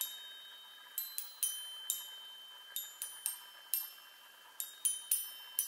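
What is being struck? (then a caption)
Metal tube chime on a wooden frame. Long nails tap the hollow metal tubes of a small handheld chime on a wooden frame, producing twelve bright, high-pitched metallic pings. Each strike is quick and light, and its shimmering ring fades gradually between the irregularly spaced taps.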